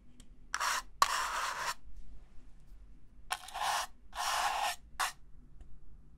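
The inside of an empty, hollow red-and-white disposable paper cup is scraped and brushed with a small black plastic brush tool held in the other hand. Six separate dry, raspy scraping strokes are heard, bright and hissy with a papery midrange around 1 kHz, plus a couple of sharp ticks. Each stroke stops dead with no ring, over near silence.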